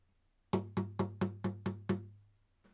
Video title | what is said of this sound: Trans Voice Workshop | we have a bit of a different size box. Okay, it's a lot bigger. And now if I give it a tap, very, very different sound